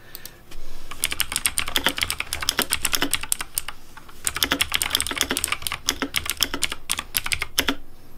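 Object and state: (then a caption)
Plastic mechanical keyboard. Fingertips type steadily on a pink plastic Razer DeathAdder V3 Pink mechanical keyboard with hollow plastic keycaps. It makes rapid, bright, clacky keystrokes with very short decay over a low thud. There are two bursts of typing with a brief lull around the middle.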